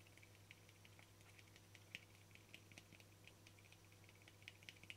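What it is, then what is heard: Frosted plastic lid. Fingertips and nails tap and scratch the face and rim of a small, round, hollow, translucent frosted plastic lid. The result is a quiet run of sharp, bright clicks with brief scratchy textures, which die out almost instantly, over a steady low hum.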